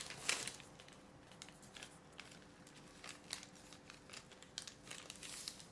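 A folded thin white sheet of parchment baking paper on a wooden table is pressed, creased and smoothed by fingertips. Bright, dry crinkling comes in a sharp burst at the start, then in scattered crackles, with a louder rustle near the end. Each crackle stops almost at once, leaving little low-end body.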